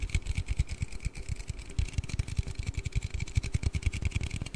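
A hollow blue aluminium Red Bull drink can is tapped and scratched with fingertips and nails while being turned in the hands. Rapid, dull, low thumps come in a steady irregular patter, with faint bright scratchy ticks on top and a short hollow ring after each tap.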